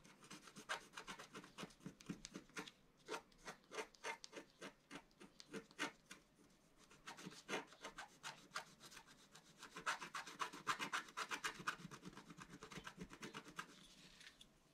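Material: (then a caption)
Coated paper. A pointed wooden stylus, held in the fingers, scratches across a flat, solid, roughly A4-size black-coated scratch-art sheet over rainbow foil lying on a table. Quick, irregular rasping strokes come in bursts with brief pauses. The scratching grows denser and busier toward the end, with a dry, bright, papery hiss.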